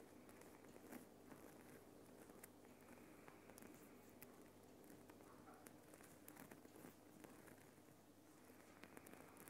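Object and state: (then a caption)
Rock salt lamp. Fingertips with dark nails tap and scratch the rough surface of a Himalayan rock salt lamp, a large solid lump of glowing pink rock salt. Quiet, steady crackly scratching runs throughout, broken by sharp, bright clicks from the taps.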